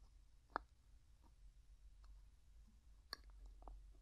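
Fingertips and nails tap and twist the gold metal screw lid on a medium, clear glass jar that is hollow and mostly empty. Two sharp, bright clicks stand out against a quiet low hum, with fainter light ticks and scrapes between them. Each tap dies away almost instantly.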